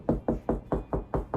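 Seven knuckle knocks on drywall over a wooden stud, at a spot already marked by a stud finder, give short, dull, low thuds that die away quickly. The solid sound confirms a stud behind the wall, as the stud finder showed.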